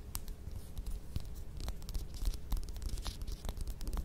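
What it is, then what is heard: Mandarin orange peel scratched and tapped. Long fingernails scratch and tap the peel of a whole mandarin orange held in both hands. The result is a steady run of dry scratching and crisp clicks over a low rumble.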